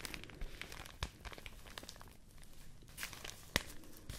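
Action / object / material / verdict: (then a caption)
scrape / folded stack of rice paper sheets / rice paper / none. A folded stack of white rice paper sheets is held up in both hands and crinkled and rubbed with the fingertips. A steady, dense papery rustle runs throughout, broken by sharp, bright crackles that jump out briefly.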